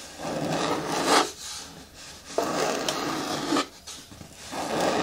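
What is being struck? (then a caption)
Hard plastic bin with lid. Long natural nails scratch and rub across the flat front and sides of a large, hollow, green hard plastic bin with a lid. The result is sustained, dry rasping strokes with a mid-range body and a bright scratchy edge, separated by brief quieter gaps.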